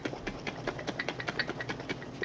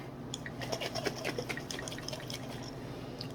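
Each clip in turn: First: jar half full of liquid cream sloshing. Second: jar of separated butter and buttermilk.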